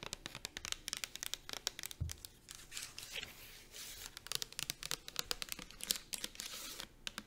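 Long acrylic nails tap rapidly on the body of a pink plastic shampoo bottle, then on its dark plastic bottom. The quick taps are dry, bright clicks with almost no ring, broken by a single low thump and a few short stretches of scratchy rustling.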